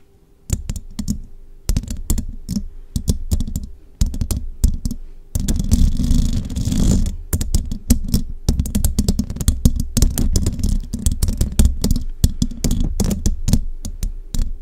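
Fingertips and long rhinestone-decorated nails tap and scratch all over the round, hollow metal mesh grille of a large condenser microphone. Dense, quick, bassy tapping starts and stops in bursts. Around the middle, a steadier stretch of rubbing and scratching rises into a hiss before the tapping resumes.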